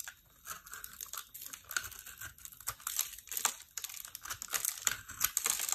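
A metal utility knife blade scrapes across a small, solid, heart-shaped bar of dry pink and white soap held in the hand. Dense, dry crackling and crunching scrapes come in quick bursts, almost all bright and high with next to no low end. Each sound cuts off sharply with no ring.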